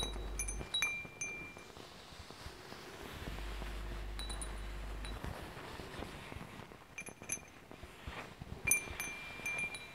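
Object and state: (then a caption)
Metal tube wind chime with glass beads. A hand strums and taps a hanging wind chime made of hollow metal tubes with glass crystal beads. Bright, high, clear chime tones ring out in small clusters of taps, separated by quieter stretches with a low rumble underneath. The strongest strike comes near the end and leaves a sustained shimmering tone.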